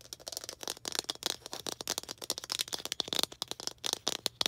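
Long green acrylic nails tap and scratch a small hollow red plastic ball with a slightly textured surface. A rapid, uneven stream of sharp, dry clicks and scratchy rasps, bright and high-pitched with almost no low end. Each click stops dead with no ring.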